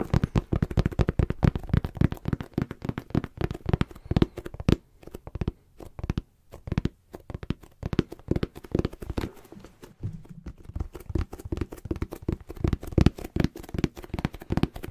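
A brown embossed leather zip pouch, held upright, is tapped and rubbed with the fingertips. Rapid, dull, low thuds come in dense bursts with soft crinkly scratching, easing into sparser, quieter taps around the middle before picking back up.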